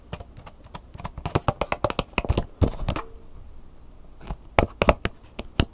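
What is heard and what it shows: Long nails tap and scratch the back surface and sticker label of a clear plastic flash drive blister pack with a cardboard insert, held up in the hand. Quick, dry, crisp clicks come in rapid bursts, with a softer scratchy stretch in the middle before the fast tapping resumes.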